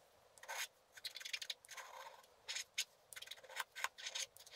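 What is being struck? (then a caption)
Coated scratch-art paper card. A wooden stylus scrapes the black coating off a flat scratch-art paper card lying on a table, working near the bottom edge. The result is a series of short, dry, bright scratching and rasping strokes with no low end, each one stopping abruptly with no ring.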